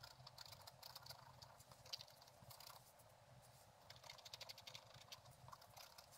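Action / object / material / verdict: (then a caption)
scrape / coated scratch-art paper page scratched with a wooden stylus / coated paper / none. A thin wooden stylus scratches across a flat page of black-coated scratch-art paper with a gold underlayer, bound in a book. Quick, dry scraping strokes come in bursts with bright, hissy texture and a soft low rustle beneath, easing off briefly in the middle before picking up again.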